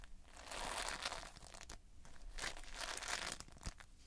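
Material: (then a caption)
Foam beads. Fingertips and a thumb squeeze and scratch the surface of multicolored Playfoam, foam beads held in a sticky binder. The result is a dense, bright crinkling and crackling that swells and fades in waves, with a few sharper snaps standing out.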